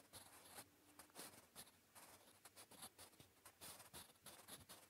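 A blue wooden graphite pencil writes Korean on a flat, solid grey lined notebook page. It makes a quiet series of short, bright, scratchy strokes with brief pauses between them.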